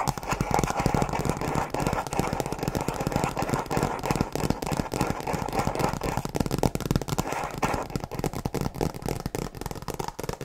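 Long nails tap and scratch rapidly on the cover of a tablet folio case with a printed tree design, made of faux leather over a hard shell. The result is a dense, continuous stream of dry, scratchy clicks with a low-mid body, little high sheen, and no ring between strikes.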